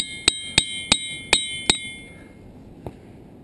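A hammer strikes a ringing boulder five times in steady succession, then once more faintly after a pause. Each blow gives a bright, bell-like metallic clang centered near 3.8 kHz with sustained high overtones that hum on between strikes. The rock rings well, like a bell.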